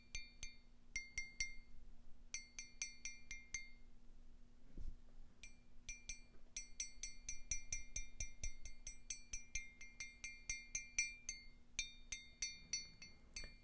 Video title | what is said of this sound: ASMR - Coffee Mug Tapping & Ramble | Very interesting noise. It's very metallic for being ceramic